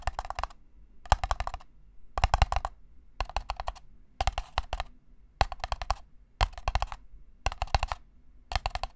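An empty, small, hollow red-and-white disposable paper cup is held in one hand while the fingertips and nails tap it rapidly. The sound comes in nine short bursts of quick, dry, clicky taps about a second apart, each with a soft hollow thump underneath. The taps stop dead, with no ring between them.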